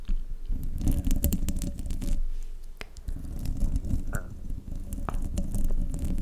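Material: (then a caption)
Metal mesh. Long fingernails on both hands scratch across the top of the hollow metal mesh grille on a silver desktop microphone. The result is a close, dense, continuous scratching and scraping with heavy low rumble, sprinkled with sharp bright ticks and crackles.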